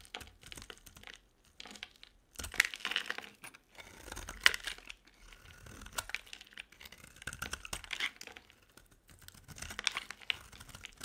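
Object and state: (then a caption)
Dry bar soap carved with a blade. A metal utility blade carves chunks off an oval bar of dry solid soap, blue and glittery outside and green inside, held in the palm. Each cut gives a dry, bright, crumbly crunch and scrape with a few sharp crackles. The cuts come in short bursts separated by brief pauses.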